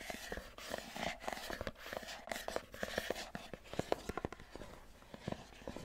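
Long nails tap and scratch the sides and top of a small, hollow white cardboard iPhone box as it is rotated. The result is a quick run of sharp, dry clicks with a hollow midrange tone, each dying away almost instantly, over a soft, papery scratching hiss.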